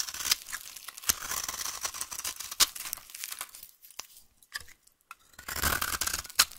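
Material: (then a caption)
Soap. A solid, dry, rounded-rectangle brown vintage soap bar is held in the hand and scraped with a utility knife, peeling off curled shavings. Bright, crisp scraping and crackling runs in bursts, punctuated by sharp ticks, with a brief near-silent lull in the middle before the scraping resumes.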